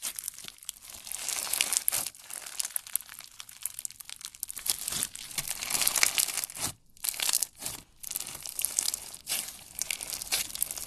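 Yellow slime packed with plastic fishbowl beads is stretched and squeezed by hand, giving a dense, bright crackling and crunching that is almost entirely high-pitched with almost no low end. The crackle comes in continuous bursts with short quiet gaps near the end.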